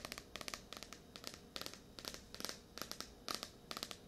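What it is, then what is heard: Paperback book. Long nails scratch and tap on the glossy card cover of a blue *Tears of a Tiger* paperback, a solid paper book. The result is a quiet, rapid series of bright, dry clicks and crinkly scratches in uneven bursts, with almost no low end and very little ring.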